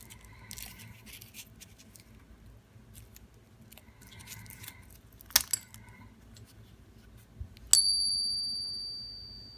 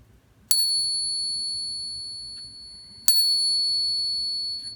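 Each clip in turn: First: After some handling clicks, one bright ping rings high and clear for about two seconds; a counterfeit dollar coin. Second: Two clear high pings, each ringing long and pure: a genuine silver dollar.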